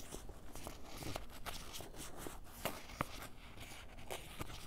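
Fingertips and a white ballpoint pen scratch and tap the top of a soft, hollow grey canvas fanny pack lying on a table. Quiet, dry rustling scrapes are broken by a few sharper short taps that stop almost at once.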